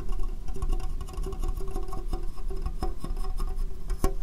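Fingernails tap and scratch on a small, hollow, empty, clear plastic box turned upside down over the microphone. The sound is a steady run of deep, boomy thuds and dull scratching clicks, heavy in the low end and quickly damped, with faint bright ticks on the sharper taps.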